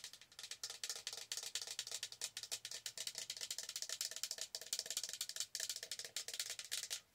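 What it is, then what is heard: Plastic tumbler. Long nails rapidly tap and scratch the side of a large, hollow, holographic Starbucks plastic tumbler that is held upright and appears empty. The result is a dense run of bright, dry clicks and scratchy ticks with almost no low end and very short ring, ending in a brief quiet tail.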